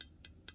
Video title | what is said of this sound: The Kubey KU122 full review! #kubeyknives #kubey | you can hear that sound it sounds hollow